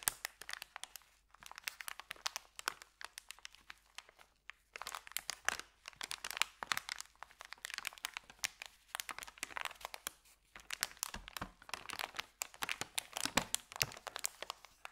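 Fingers roll and fold the top end of a thin, empty white paper sandwich bag, making dense bursts of crisp, crackling crinkles. The sound is bright with almost no low end, and it comes in busy stretches separated by brief quieter pauses.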